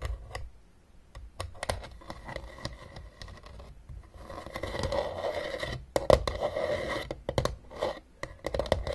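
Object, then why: Hard plastic game case. Long nails scratch and tap the ridged top of a closed, hollow blue hard plastic Battleship game case. Quick, dry clicks and raspy scrapes come close together with no ring. The scratching builds into denser, louder stretches in the second half.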